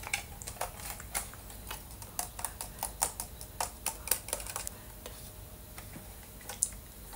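A hand-held, hollow-built Boba Fett LEGO helmet made of ABS plastic bricks, with a green dome and a red and black visor, is tapped and scratched with dark-painted fingernails. The result is a quiet, steady series of short, bright plastic clicks and taps that die away almost instantly, with soft scratching between them.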